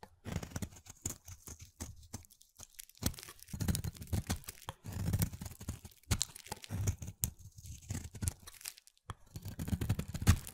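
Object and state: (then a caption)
Soap bar being carved. A hand-sized solid green soap bar, held in one hand, is carved with a snap-off utility knife blade, and thin shavings curl off onto a bed of soap shavings. Repeated cutting and scraping strokes make a dense, low, crunchy tearing sound with short crisp transients and brief quiet gaps between passes.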